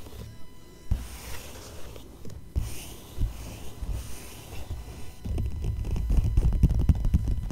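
Both hands tap and scratch with long nails and fingertips on an open glossy paper magazine, spread to a Van Cleef & Arpels page with a shiny metallic-looking finish. Soft, low, dull taps mix with dry scratching. The sound grows louder and busier over the last couple of seconds.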